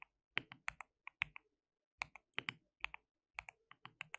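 Fingertips of both hands type on a white plastic mechanical keyboard with translucent keycaps. The result is 19 crisp, bright, clacky keystrokes in uneven bursts and pauses, each centered around 2.3 kHz with almost no low end and no ring after each hit.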